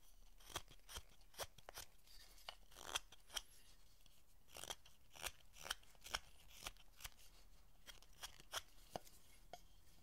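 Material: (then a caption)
Hinoki wood. A steel chisel scrapes and cuts a solid hinoki cypress carving with a rounded end, a decorative foot for a Buddhist statue's pedestal. It makes a steady run of short, dry, crisp cuts and scrapes, each a bright snip peaking around 3.3 kHz with almost no ring, over a low, quiet background.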